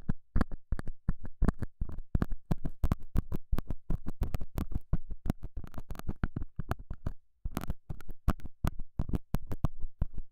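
A straight, pointed metal scaler tip scratches and pokes the surface of a small, square, solid beige felt pad mounted over a small lavalier mic. The result is a rapid run of short, dull, muffled scrapes and taps, almost entirely low and thumpy with no bright edge, each dying away almost at once.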